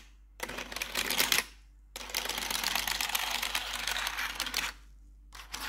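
Metal claw nails tap rapidly across the keys of a black plastic RGB backlit computer keyboard, making dense, bright clicking in bursts. A short burst is followed by a pause, then a longer stretch of tapping, and a final burst starts near the end. A faint low hum sits underneath throughout.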